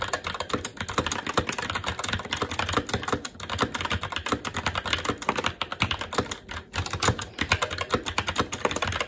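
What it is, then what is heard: Mechanical keyboard being typed on. Fingertips of both hands type continuously on a SteelSeries Apex 7 TKL mechanical keyboard with Red switches, its black plastic keycaps mounted on a metal plate in a hollow RGB-backlit case resting on a desk. The result is a rapid, steady stream of short, dry keystroke clacks, each with a low thock and a bright plastic click, dying away almost instantly.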